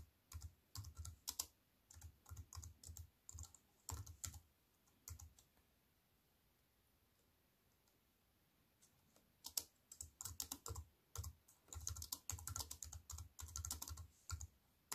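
A compact aluminium and plastic wireless keyboard is typed on with both hands by someone with long white nails, giving quick, crisp key clicks with a bright top and a soft low thump. The typing comes in bursts, pauses in near silence for about four seconds, then picks up again in denser runs.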